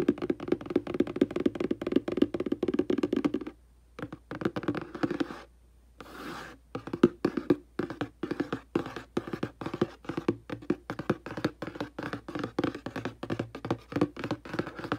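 A hollow printed cardboard aquarium box resting on carpet is tapped and knocked on its front face with fingertips and long dark nails. Dozens of quick, dry, hollow taps with a mid-pitched boxy resonance come in rapid bursts, with two short pauses and a soft brushing sound in between. Each tap dies away almost instantly.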